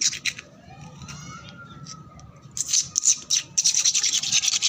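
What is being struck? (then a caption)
Painted concrete floor scratched with nails. Long black nails scratch and rub back and forth over a flat, solid concrete floor that is wet and foamy, with peeling red paint. Short bursts of bright, hissy scraping open the clip, then a quieter stretch carries a faint, rising tonal whine. The scratching returns fast and dense through the second half.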